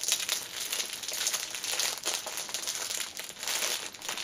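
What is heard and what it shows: Fingertips and long nails press and rub the clear cellophane wrapper around a small black fabric pouch lying on a cushion. The wrapper gives a steady stream of bright, dense crinkling and crackling with almost no low end, rising and falling in waves throughout.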